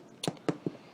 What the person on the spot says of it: you tap the bread like this you're going to hear the hollow sound this means the bread is done